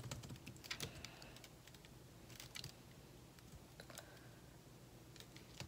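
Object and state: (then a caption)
Laptop keyboard with plastic keys. Fingertips type fast and continuously on the plastic keys of a thin metal laptop's built-in keyboard. Quick, bright clicks and taps come in irregular bursts over a steady low background hum, with each keystroke dying away almost instantly.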